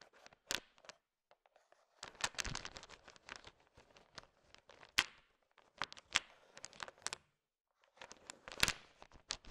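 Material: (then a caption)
Candy shell. A thin wooden stick stirs a heap of candy-coated peanut M&Ms, small, hard, sugar-shelled peanut chocolate candies. It makes dry, bright clicking and rattling bursts with short gaps of near silence between them. The sharp hits die away almost instantly.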